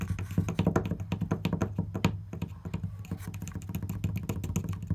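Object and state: Wooden panel.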